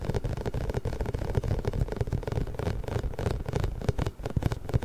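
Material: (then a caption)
Rubber. A large pink inflated hollow rubber massage ball with small spikes is held behind the microphone and rubbed and squeezed with fingertips. It makes a continuous low, muffled rumbling of dense rubbery scratches and squeaks with many quick soft bursts.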